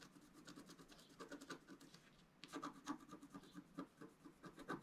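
A wooden stylus makes small scratches near the bottom edge of a flat, black-coated scratch-art paper card. Quiet, dry scratching strokes repeat in short bursts, with a brief pause in the middle before the scratching resumes.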